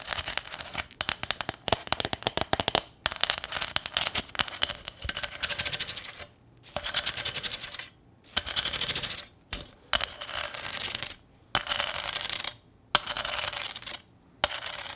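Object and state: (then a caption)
Corrugated sheet-metal sign. Long nails tap and scratch across the ridged surface of a small, thin corrugated sheet-metal welcome sign with a ribbon bow on top. Quick, bright metallic clicks come first, followed by bursts of raspy scratching along the ridges separated by short silences.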